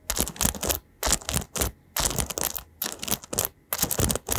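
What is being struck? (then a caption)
Paddle hairbrush with metal pins. Fingertips run and strum across the dense metal pins of an oval paddle hairbrush with a white rim, held up in both hands. The scratching makes bursts of bright, crackly rustling separated by short silent gaps, with some low thumps underneath.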